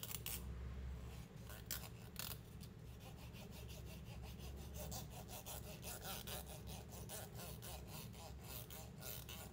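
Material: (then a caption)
Plastic. Fingernails and fingers scratch and rub along the teeth of a long, solid white plastic hair comb held in the hands. A steady run of quick, raspy, bright ticking strokes plays over a constant low hum.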